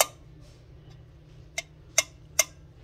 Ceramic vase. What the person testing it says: listen for this sound you can hear like a dull thud